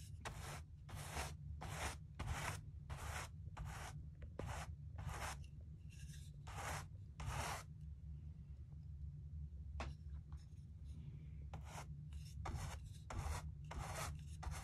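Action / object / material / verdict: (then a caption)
scrape / bristle brush on stretched cotton canvas / canvas / none. A wide wooden-handled bristle brush sweeps back and forth across the textured surface of a large acrylic-painted stretched cotton canvas lying flat, spreading matte varnish. Each stroke makes a bright, scratchy rubbing burst, repeating in an uneven rhythm over a steady low hum. A gap in the strokes falls partway through.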